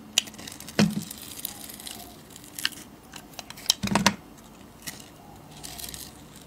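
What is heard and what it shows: A metal blade scrapes and shaves the surface of a solid oval bar of glitter soap, blue underneath. Short, bright scraping and crisp shaving strokes come in scattered bursts, with a few sharper cuts standing out over a quiet background.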